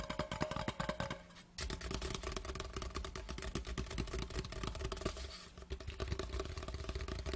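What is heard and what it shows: An empty, large hollow cardboard Laphroaig whisky gift tube lies on its side on a cloth and is tapped fast with the fingertips and short nails of both hands. The result is a dense run of quick, dry, hollow knocks with a deep, boomy low end and short clicky nail ticks. Each tap dies away almost at once, and the tapping briefly thins out twice before resuming.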